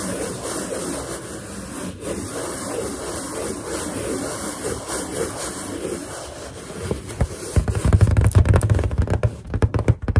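Fingers and nails rub and scratch across a large, hollow, inflated white latex balloon, making a steady, soft, squeaky friction texture with low, rumbling resonance. After about seven seconds the sound turns louder and more uneven, with deep, dull thumps and brief scrapes from the balloon surface.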